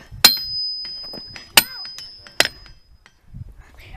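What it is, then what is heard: Ringing rock. Boulders in a field of ringing rocks are struck three times, each blow giving a sharp, bright, bell-like clink. A high tone hangs on after the first two strikes before fading, with faint low rustling between them.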